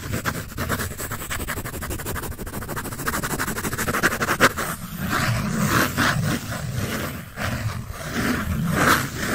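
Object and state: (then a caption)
Pencil scratching on paper. A graphite pencil scratches across a paper sketch sheet held in both hands. The first half is a fast, steady run of short scratchy strokes. It then gives way to slower, broader strokes with brighter, hissing swishes over a low rustle.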